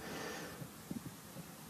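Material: Nothing is struck.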